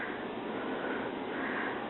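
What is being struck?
Nothing is struck.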